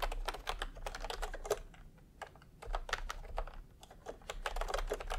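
Bare fingertips of both hands type fast on a full-size pastel plastic retro keyboard with round plastic typewriter-style keycaps, resting on white fabric. Quick runs of short, sharp plastic clacks die away almost at once, broken by two brief pauses before the typing picks up again.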